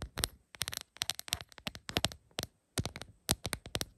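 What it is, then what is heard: Rhinestone plastic phone case tapped with nails. Long pointed acrylic nails tap on a rhinestone-covered plastic phone case lying flat. Rapid, bright clicks come in quick bursts separated by short pauses. Each tap is sharp and dry, with almost no ring.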